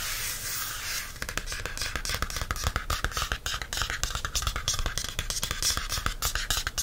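A thin paperback notebook with a printed library date-due card cover is held in one hand while fingertips and nails work the cardstock. The first second is a steady, bright scratching hiss; then rapid, dry, close-up taps and scratches follow in an uneven stream, each short with almost no ring.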